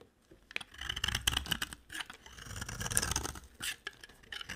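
A solid white bar of dry soap is shaved along its face and edge with a utility-knife blade. Short, bright, crisp scraping strokes come in a loose rhythm with brief pauses, alongside a faint low rumble.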